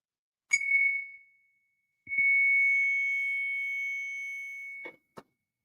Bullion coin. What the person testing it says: It rings and rings and rings.